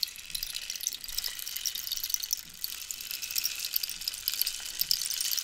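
Long nails scratch along the ridged surface of a long, hollow, dried-cactus wooden rainstick with a rainbow-banded end while it is tilted. A steady, dense hiss of fine, bright scratches and tiny clicks comes through, like light rain or sizzling, with almost nothing in the low range.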